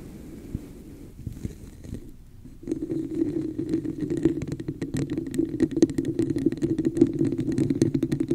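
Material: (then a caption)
Plastic. Long nails tap and scratch the embossed surface of a hollow red textured plastic cup held over the mic. A few soft, sparse taps come first, then after a brief lull the sound becomes a louder, steady stream of quick scratches and clicks with a hollow, mid-low resonant tone from the cup.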